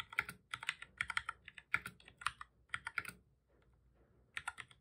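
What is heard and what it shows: Fingertips of both hands type on a black full-size plastic computer keyboard, making rapid bursts of short, bright, dry clicks centered around 1.4 kHz. Quick runs of key presses are broken by a brief near-silent pause before a final flurry of keystrokes.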